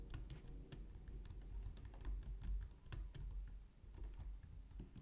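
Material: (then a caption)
Plastic. Both hands type steadily on a white plastic low-profile wireless Logitech keyboard resting on a glitter mat, striking the keys with long painted nails and fingertips. The result is a quick, uneven stream of soft clacks with bright clicky tips over a dull low thump.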